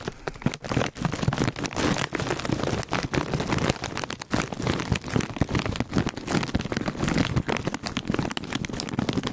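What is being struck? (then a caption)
Foil-lined plastic snack bag. Fingertips and nails tap and scratch the surface of a full, foil-lined plastic Cheetos chip bag held in front of a microphone. The result is a dense, continuous stream of quick crinkly taps and scratchy rustles with soft low thumps beneath them and no pauses.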